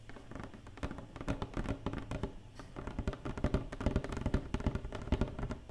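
Long painted nails tap rapidly on the inside of an empty, open black cardboard box tray. The result is a quick, irregular patter of short, dull, hollow thuds that are mostly low in tone with almost no brightness, each dying away almost at once.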